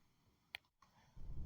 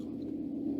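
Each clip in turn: First: wooden board, tap dies away almost instantly. Second: large gong with sustained, building ring.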